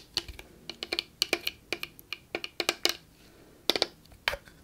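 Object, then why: Plastic spray bottle. A tall Victoria's Secret PINK body mist bottle, made of clear plastic with a purple cap and partly full of liquid, is held in one hand and tapped with long acrylic nails. The taps come as a quick, irregular run of crisp, bright clicks, each with a faint hollow tone around 350 Hz that dies away almost at once. There is a brief pause before a few final taps.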